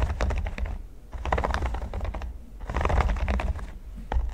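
Fingertips of both hands tap and scratch across a flat, flexible red silicone baking mat covered in small pyramid studs, lying on a table. The result is rapid, clustered clicking taps with a low rumble underneath, coming in bursts separated by brief quieter pauses.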